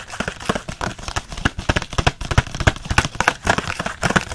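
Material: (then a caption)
Hard plastic. Fingernails scratch fast across the hard, clear plastic bubble of a card-backed blister pack holding six Micron pens. The result is a rapid, irregular run of dry, crinkly scratches and clicks that stop short with no ring.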